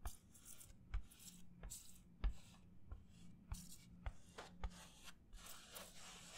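A white disposable paper plate is held up in both hands while fingers rub and scratch across its surface. The result is quiet, dry, papery rasping and scraping, broken by short irregular scratchy bursts over a faint low hum.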